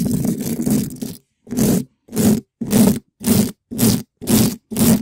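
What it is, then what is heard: Metal mesh microphone grille. A gloved hand rubs and scratches the large, black, hollow dome-shaped metal mesh grille of a condenser microphone with a small red spiky rubber ball in fast strokes. A second of continuous choppy rubbing gives way to seven separate scratchy strokes with short silences between them. Each stroke sounds loud, boomy and close, with a dense low rumble under the rasp.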